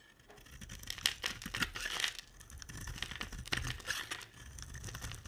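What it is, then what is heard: Bar soap being scraped with a blade. A utility knife blade scrapes curls off a solid blue oval embossed bar of dry soap. The cuts make bright, crisp crackling and scratching strokes that rise and fall in quick bursts, each dying away almost at once.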